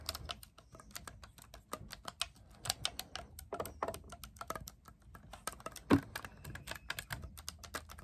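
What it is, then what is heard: Clarinet keys clicked by fingertips. Fingertips rapidly press and click the silver-plated metal keys of an assembled black clarinet (wood or plastic body), held upright, and grip its long hollow tube. A fast, steady stream of short, dry clicks and taps with bright edges dies away almost instantly, with one louder, fuller knock near the six-second mark.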